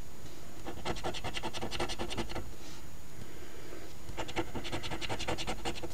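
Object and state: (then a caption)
Scratch-off lottery ticket being scratched. A coin edge held in the fingertips scrapes the latex scratch-off coating off the number circles, row by row, on a thin flat paper $10 Ontario Lottery OLG Wish List instant scratch ticket (#2450, #001). Two bursts of rapid, uneven scratching strokes are heard, separated by a short pause near the middle of the clip.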